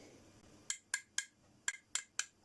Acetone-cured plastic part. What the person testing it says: You can tell by the sound of it. It sounds hard